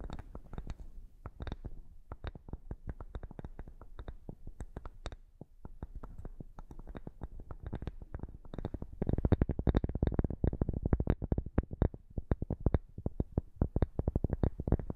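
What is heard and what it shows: A flat square cork board, held upright in front of the microphone, is scratched with the fingernails of both hands. It makes a rapid, dense stream of short, dry scratching strokes with a heavy low thump. The strokes grow louder and busier about halfway through.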